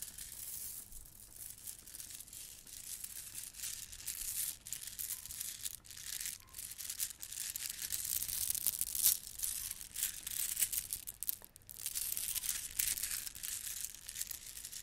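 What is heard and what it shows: A gold plastic bead garland is held in front of a microphone and rubbed between long red nails. It makes a quiet, continuous stream of small clacking rattles and crinkly friction that is almost entirely high and bright, with little low end. The texture swells and dips in short bursts as the beads shift.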